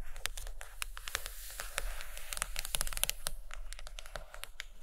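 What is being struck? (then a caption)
Hardcover book with a board cover. Long acrylic nails tap and scratch the cover of a thick, solid purple hardcover book lying closed on a carpet. Rapid, bright clicks mix with dry, scratchy rasps over a steady low hum, and each tap stops almost at once.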